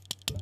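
A finger taps three times on the glass filter covering a digital camera's sensor assembly, a filter that blocks ultraviolet and infrared light. Each tap is a short, bright tick centered near 3.4 kHz that dies away almost at once. A steady low hum runs underneath.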